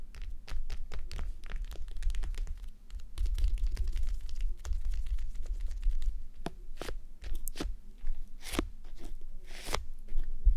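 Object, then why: Plastic gel bead eye mask. Long nails scratch and tap the sides and top of a red plastic gel bead eye mask resting on a mannequin head. The result is a dense run of crunchy, crackling scratches mixed with short, sharp clicks and taps over a steady low rumble.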